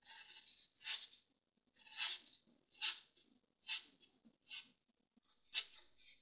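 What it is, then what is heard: Dry floral foam block being scratched. A green-handled pointed tool scratches lines into the surface of a solid grey dry floral foam brick held with fingertips on a table. Short, dry, bright scraping strokes repeat at an uneven pace, separated by near silence, with almost no low end.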